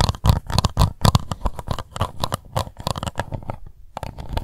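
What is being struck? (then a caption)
Plastic cup. Long white nails scratch the ridged base and sides of an empty, hollow, translucent pink plastic cup. The result is rapid, irregular, dry scratching strokes with a hollow, low thumpy body and a brief pause before the scratching resumes.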